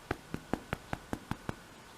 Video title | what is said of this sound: Edible Smelly Gym Socks | you know they are done when you do this and it sounds hollow